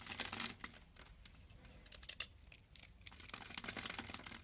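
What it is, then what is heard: Soap bar being carved. A pink-handled box-cutter blade scores a solid cream-white soap bar, held in the palm, into a grid of small cubes. The result is a rapid run of crisp, dry, bright scraping and crackling clicks with almost no ring, as the cubes break off.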